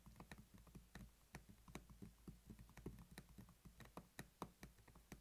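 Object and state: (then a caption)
Plastic pill organizer case. Both hands tap rapidly with short-nailed fingertips on a closed black hard-plastic weekly pill organizer, hollow and holding some capsules, lying flat on a table. The result is a quick, uneven run of short, dry, hollow clicks with a low, thin body and almost no ring.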